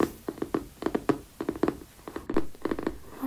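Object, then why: Cardboard spiral notebook cover. Fingertips tap and scratch across the glossy printed card cover of a yellow spiral-bound notebook lying flat. The result is a quick series of short, dry taps with a muted mid-range knock around 300 Hz and very little ring, interspersed with faint scratchy rustles.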